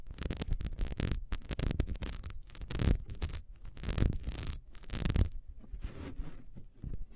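Long nails scratch quickly across the ridges of a small solid ribbed wax beehive candle lying on its side. The result is fast, uneven bursts of dry, bright rasping, each with a dull low thump underneath, and the loudest strokes come near the middle. It ends in softer, sparser scratches.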